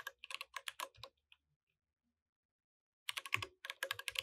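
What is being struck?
Mechanical keyboard with plastic keycaps.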